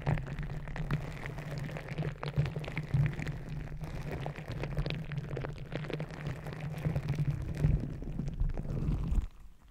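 A green rubber gel-bead squishy stress ball resting on the microphone is pressed and kneaded with fingertips and nails. It makes a dense, low, muffled squishing and crackling with a steady low rumble and many quick clicks, which stops abruptly near the end.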